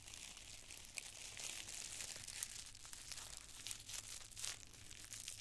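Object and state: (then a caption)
Tissue paper being crinkled. Two handfuls of thin, multicolored tissue paper squares are crushed in both fists, crinkled with the fingertips, then opened in the palms. A quiet, dense, bright crinkling and rustling runs throughout with small crackling peaks, over a faint steady low hum.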